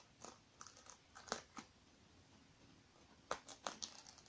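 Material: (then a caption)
Sequined fabric. Fingertips and nails scratch and rub across the sequins of a small black sequin-covered fabric zippered makeup bag, closed and soft, held on a wooden table. Short, crisp, bright scratchy bursts come in an irregular series, split into two clusters by a quiet gap in the middle.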